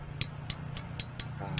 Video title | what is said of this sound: TUTORIAL CARA MENGETAHUI SETANG SEHER RX-KING YANG SUDAH AUS | suaranya kasar ya kalau dipukul